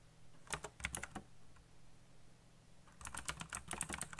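Fingertips type quickly on a black backlit mechanical computer keyboard with plastic keycaps, producing sharp, clicky key presses with a bright, high edge. A quick burst of keystrokes is followed by a brief pause, then another flurry of clattering presses against a low background hum.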